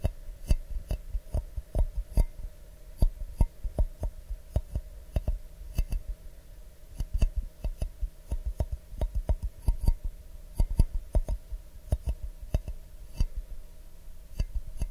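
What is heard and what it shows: An empty, hollow clear glass mug held in both hands is tapped with fingernails in an irregular series of about 35 quick taps. Each tap is a short, dry click with a low, dull body and almost no ring. A faint steady hum runs underneath.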